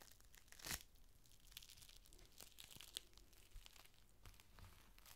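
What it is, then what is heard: Clear plastic rain cover. A thin, clear plastic rain cover is held up and unfolded, then fingers crinkle and stretch the sheet before laying it flat. A loud, bright crackling burst comes near the start, followed by scattered sharp crinkles and soft rustling over a quiet low rumble.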